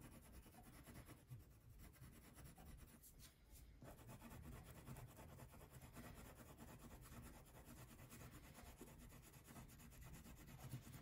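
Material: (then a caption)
Paper. A purple wax crayon is rubbed in steady strokes across a thin paper coloring sheet resting on a table. The sound is a quiet, continuous low-pitched scratchy rasp with a faint brighter hiss, holding a fairly even level throughout.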